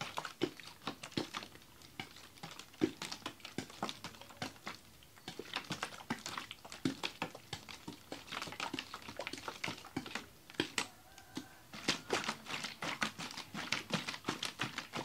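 A large clear ribbed plastic water bottle with a red cap, holding frozen ice and water, is held in both hands and shaken. Dense, rapid bursts of sharp, bright clicks and rattles fill the clip as the ice knocks against the plastic, with faint sloshing underneath and a few brief pauses between shaking bouts.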